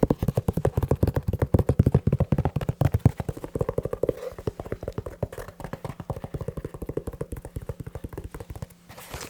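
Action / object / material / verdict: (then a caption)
tap / leather shoe / leather / none. A leather shoe is tapped quickly with the fingers, giving a fast, uneven run of about seventy short, dull, low-pitched thuds with almost no ring. The taps are loudest early and grow softer toward the end, closing with a faint soft rustle.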